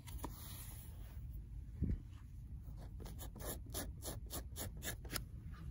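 Long nails scratch and scrape along the paper spine of an old, worn paperback book. Brief bright scratchy strokes repeat over a steady low rumble, with a duller thump near the two-second mark. The strokes come quicker and more regularly in the second half.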